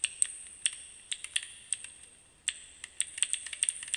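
Fingertips repeatedly press and click the plastic keys of a small plastic keycap fidget cube held close up. About sixteen sharp, bright clicks come in an irregular, quick rhythm, each dying away almost at once with no low-end body.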